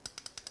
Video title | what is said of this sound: What Is A Motorbike Camshaft? | as you move them you hear them tapping